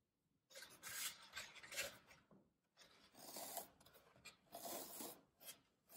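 Fingertips press down hard on a solid green floral foam brick, crushing it and leaving rows of dents along the edge. Each press gives a dry, bright, rasping crunch, heard in several bursts with short quiet gaps between them. There is almost no low end, and each crunch stops quickly without ringing.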